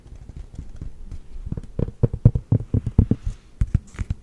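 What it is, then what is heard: Mesh and foam running shoe. Long painted nails scratch along the knit mesh upper and thick white foam midsole of a hollow, empty black Hoka running shoe held in one hand. Soft, muffled scratching builds into a loose, irregular series of dull, low thumps with almost no high-frequency content, each dying away almost instantly.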